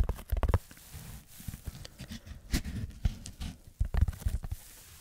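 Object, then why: Foam sheet. Fingertips scratch a red textured foam block held above a microphone, making soft, dull scratching and patting bursts. The sound is mostly low and muffled, coming in uneven clusters with quiet gaps between them.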